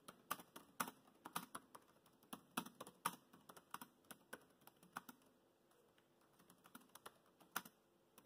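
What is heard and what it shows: Fingertips type on the black plastic chiclet keys of a dark grey laptop keyboard. Soft, dry clicks tap out in an irregular rhythm, each key press short and crisp with no ring. The typing is busy at first, then thins to scattered taps near the end.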